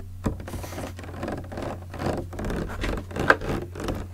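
Fingertips tap and knock on the body of a large clear green PET plastic bottle with a red cap, partly filled with liquid. Soft, hollow, scratchy taps and rustling over a steady low hum, with a sharp knock near the start and a brighter click near the end that carries a brief tone around 1.5 kHz.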